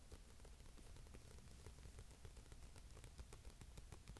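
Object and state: Paper magazine.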